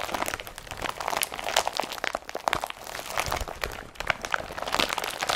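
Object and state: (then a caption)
Woven polypropylene carrier bag being crumpled. An empty blue woven polypropylene IKEA BRATTBY carrier bag is crumpled by hand near the straps, with fingers pulling at the folds. The result is a dense, steady stream of dry, bright crinkles and crunches with no low end and no ring. Sharper crackles stand out from the rustle throughout.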